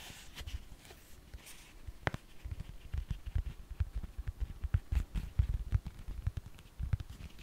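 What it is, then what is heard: Foam orthopedic insole. A black and blue foam orthopedic insole is flexed and curved in the hands while long fingernails scratch and tap across it. The result is a quiet, rapid series of dull, low thumps with brief, bright scratchy flicks over them. Each sound dies away almost at once.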